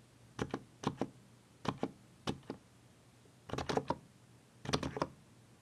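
Fingertips press the Shift, Caps Lock, Ctrl and Alt keys on the left side of a mechanical keyboard with plastic keycaps, giving short, thocky knocking clacks. The keystrokes come in quick pairs and small bursts separated by brief pauses, each one dry with almost no ring and a low-mid body.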